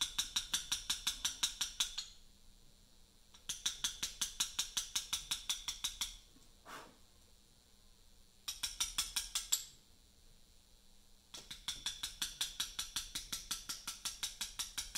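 A chisel struck with a small mallet cuts letters into a large, solid, pale Portland limestone memorial block. Quick, steady, bright clicking taps come in four bursts separated by short pauses, with a soft brushing sound in one gap. Each tap is sharp and high-pitched and dies away almost instantly.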